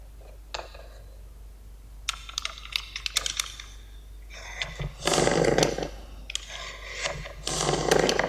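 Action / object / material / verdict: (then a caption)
scrape / kinetic sand brick cut with a metal blade / kinetic sand / none. A small solid yellow Lego-shaped brick of kinetic sand, held in fingertips with a light blue nail, is cut repeatedly into slices with the metal blade of a yellow utility knife. Soft crumbly crunches and scrapes come in irregular bursts, with longer, brighter grainy scraping passes toward the end.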